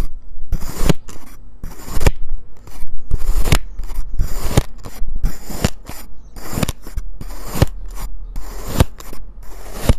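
A pink kinetic sand disc is cut in a cross-hatch pattern into diamond pieces with a white ceramic knife fitted with a clip-on mic. Repeated bursts of crisp, gritty scraping and crunching come as the blade slices and drags through the sand, with a low thump under each stroke.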